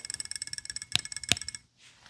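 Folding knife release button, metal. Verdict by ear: Loose.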